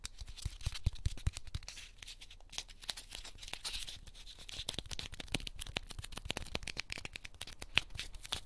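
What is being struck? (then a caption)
Corn starch foam packing cushion. A small, light, solid white heart-shaped piece of corn starch foam packing cushion is pinched and squeezed between the fingertips of both hands until it crushes, while other foam hearts lie untouched on a pink ribbed mat. It gives a steady stream of dry, bright crackles, squeaks, and crunchy snaps with soft low thumps underneath. The sound runs continuously throughout, with no ring after each snap.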